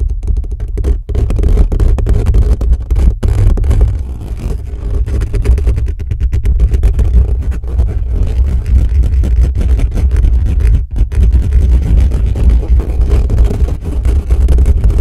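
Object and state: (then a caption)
Metal microphone grille being scratched. Fingertips and short nails of both hands scratch fast over the bare metal mesh grille of a large black USB condenser microphone, with no windscreen, sitting on a desk stand with a hollow head. The rapid scratching comes through as a dense, continuous, boomy low rumble with dull thuds, almost all of it deep bass with little high content. Brief dips in loudness break up the otherwise steady scratching.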